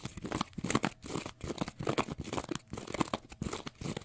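Fingernails scratch a small rectangular block of pale green porous cellulose sponge, making rapid, repeated bursts of dry, crinkly scratching and crunching. The scraping is broadband and bright, with short gaps between strokes, and each burst stops abruptly with no ring.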